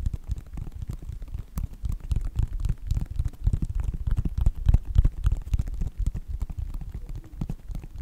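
Fingertips and nails tap rapidly on the synthetic upper side panels of a white Nike sneaker. The taps come as a dense, irregular stream of soft, dull thumps that sit almost entirely in the low range, with brief bright clicks and no ring.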